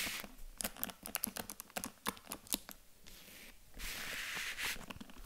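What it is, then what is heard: Faux leather jewelry case tapped with nails. A small, hollow white faux leather jewelry box with a gold zipper, resting on a table, is tapped and scratched with long acrylic nails. Rapid, crisp clicking taps are followed by a soft, hissing scratch across the surface.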